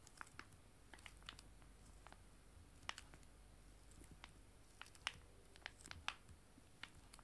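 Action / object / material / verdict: tap / foil-laminated wet wipe sachets / foil laminate / none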